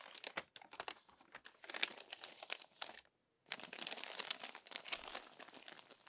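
Fingertips and long nails turn and smooth the crinkled pages of an open glossy paper magazine. Dense, crisp, bright crinkling and rustling comes in rapid bursts with no low end, broken by a short silence about halfway through before the crinkling resumes steadily.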